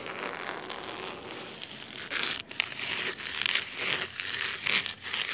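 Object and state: Cloth-covered hardcover book.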